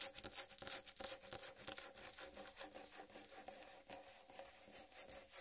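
Long red-painted nails and fingertips scratch and rub the green striped rind of a large, whole, uncut watermelon. The sound is a quiet, steady run of bright, hissy scrapes in a loose, uneven rhythm, each short and dry, with a faint hollow tone near 550 Hz beneath them.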